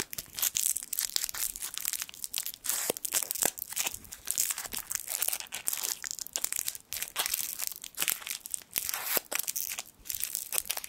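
A small gold foil sweet wrapper has its twisted end pulled and crinkled with the fingertips just above a microphone. The result is dense, bright, crackling crinkles with rapid sharp snaps that continue throughout, with almost no low end.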